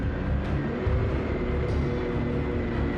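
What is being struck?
Nothing is struck.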